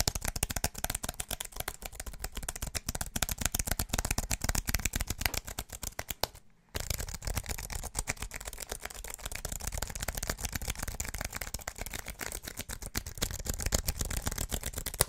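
Fingertips tap rapidly and unevenly on the white plastic keys of a slim wireless keyboard with an aluminum body, held upright, producing a dense stream of sharp, dry clicks with a low thump beneath and a bright top. Midway the tapping stops for a moment, then resumes just as fast, and the keyboard is flipped at the end.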